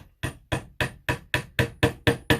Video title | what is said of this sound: How to make wood joints Dowel Joints | you can hear when the dowel goes fully down